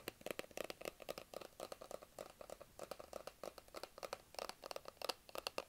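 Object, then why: Small cardboard box. Fingertips and nails scratch and tap the surfaces of a small, hollow, white cardboard Apple iPhone box held close, producing about thirty-four quick, dry taps and scratches. Each tap has a hollow boxy tone around 516 Hz with a bright, papery scratch on top, and each dies away almost instantly.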